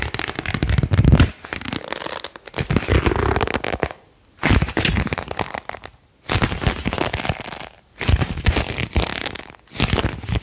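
A single thin printed paper card, held close, is bowed and flexed with the fingertips and thumbs, making snapping, crinkling crackles. The dense crackling comes in bursts broken by brief silences, with a heavy low-end thump beneath the short, dry snaps.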